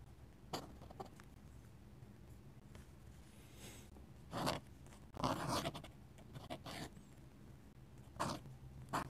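A steel dip pen nib scratches and hatches ink across a flat paper sketchbook page. Short, dry, bright scratching strokes come in irregular bursts, some brief and some longer, over a faint low background hum.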